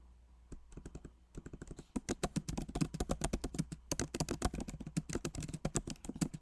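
Both hands type with their fingertips on the plastic keycaps of a backlit MacBook Pro Magic Keyboard set in an aluminum body. Soft, sparse taps for the first two seconds give way to louder, quicker typing. Each short, dry click carries a low thud and dies almost instantly over a faint steady low hum.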